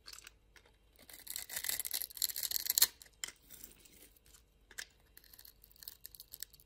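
A utility knife blade scrapes and shaves the surface of a small, solid, blue-and-white striped bar of soap held in the hand. Bright, crisp scraping builds into a dense, hissing burst in the middle and ends in a sharp final cut. Quieter, scattered short scrapes follow, and there is almost no low end.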